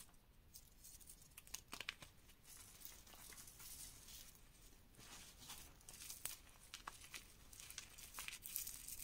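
A dry mound of reformed, dyed pink gym chalk powder with soft lumps is pressed and crushed by bare fingertips and palm. The result is a quiet, continuous crumbling crunch of bright, crackly grit, broken by sharper crisp snaps as the lumps give way.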